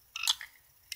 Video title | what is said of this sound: LED 3D Electronic Dice | you can actually hear the ball inside